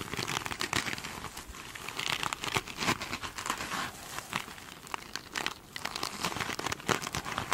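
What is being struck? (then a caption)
Glittery plastic mesh sponge. Long pointed nails scratch and tap the surface of a glitter mesh sponge up close. The result is a dense, bright, crinkling scratch broken by many quick, crisp taps that die away almost at once.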